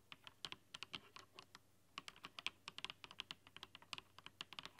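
Fast typing with long dark nails on a mechanical keyboard with translucent plastic keycaps under strong rainbow LED lighting. About thirty quick, bright clacks and clicks come in uneven bursts, each dying away almost instantly, with a high, crisp tone and almost no low end, over a faint quiet background.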